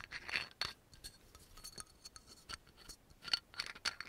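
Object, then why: Glass oil bottle with label and cap. Long nails tap quickly and unevenly on the yellow label and the cap of a dark brown amber glass oil bottle. The result is a quiet stream of bright, dry clicks and scratchy ticks with a faint high glassy ping that dies away almost instantly.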